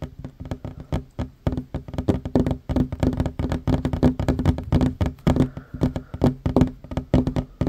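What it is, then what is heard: Wooden table tapped. Both hands fast-tap a flat, solid wooden tabletop with short fingernails and fingertips. The result is a dense, continuous run of quick, dull knocks with a low, woody thump around 137 Hz and very short ring. There is little bright content.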